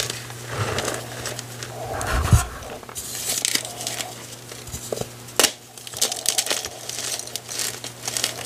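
A white block of gym chalk (magnesium carbonate), broken into a crumbly pile of dry, solid chunks and powder on a wooden table, is crushed and squeezed by fingertips with painted nails. Dense, bright crunching and crinkling crackles come in bursts, with a few sharper snaps as pieces give way. A steady low hum sits underneath throughout.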